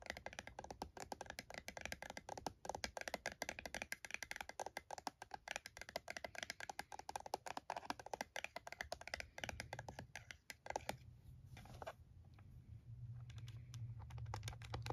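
A handheld plastic scientific calculator resting on a towel, then held in both hands, has its keys tapped and pressed by fingertips and nails. Rapid, dry, short clicks and taps come in a dense, uneven stream with a woody, hollow tone. Near the end the tapping thins out and grows quieter over a low, steady hum.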